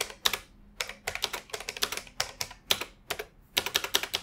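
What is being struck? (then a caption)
Plastic computer keyboard. Both hands type with their fingertips on a beige plastic retro computer keyboard with hollow key mechanisms, resting on an office desk. Quick bursts of bright, clacky keystrokes come in short runs separated by brief pauses. Each tap cuts off almost instantly, with hardly any low end.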